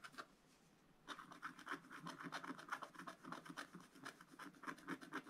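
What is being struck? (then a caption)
Wax-coated scratch-art paper scraped with a wooden stylus. A wooden stylus scratches and rubs the black coating of a scratch-art card in a spiral book, working small areas. After a couple of strokes and a brief quiet pause, a quick, uneven run of short, dry, papery scratches follows at about four per second, with a bright rasping edge.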